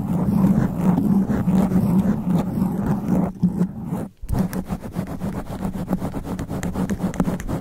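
Long black nails scratch fast and aggressively on a sponge foam microphone windscreen, making a dense, low, rumbling scrape with a steady hum underneath. The sound dips almost to silence just after four seconds, then returns as quick, rapid strokes of rough scratching.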